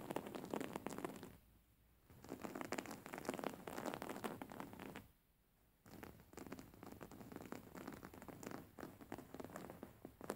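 Fingertips and nails scratch a white cotton cushion with flower embroidery, held upright. A quiet, dense, rustling scratch runs across the fabric in three bursts, separated by two short near-silent pauses.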